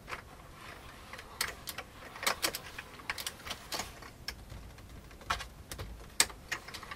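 Fingertips of both hands type on a full-size vintage beige plastic computer keyboard, producing about twenty sharp, bright key clicks at an uneven pace. Each click is crisp and dies away almost instantly over a faint, steady background hiss.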